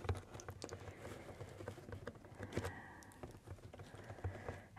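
Long painted nails and fingertips tap and scratch across the top surface and tape of a medium, hollow, taped corrugated cardboard shipping box. A quick, uneven run of soft, dull, hollow thumps with a low boom fills the clip, each dying away almost at once. Between them come dry scratching and rustling, with a steadier scraping stretch near the end.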